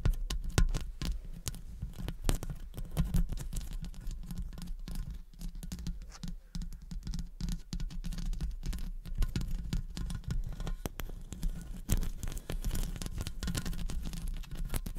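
Long acrylic nails scratch the metal wire-mesh grille of a studio condenser microphone and tap its metal body. The result is a dense, continuous run of close, dry clicks, taps and scraping patter. Much of the sound is weighted toward a low thump, with bright crackling edges on each tap.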